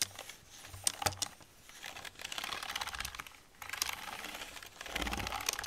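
A soft makeup brush with a metal ferrule is brushed and dabbed over the keys of an old black plastic computer keyboard while the other hand rests on the keyboard. Bright, dry rubbing swishes come in bursts with brief quieter pauses, and light plastic rattles and quick clicks from the keys sit on top.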